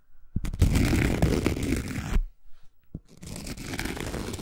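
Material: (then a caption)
Cork. A thin round cork coaster, held by its edge, is scratched and tapped with long nails. A dense, low, papery scratching runs for about two seconds, then after a short pause a single soft tap is followed by steadier, quieter scratching to the end.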